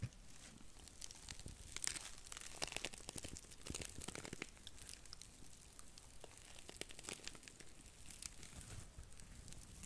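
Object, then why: Cellulose sponge. A small, dry, porous blue cellulose sponge is squeezed and scratched with long nails beside the mic. The result is a dense run of soft, brittle crackles and crinkles with bright, scratchy edges over a low rumble. Many short, sharp snaps overlap throughout at a quiet level.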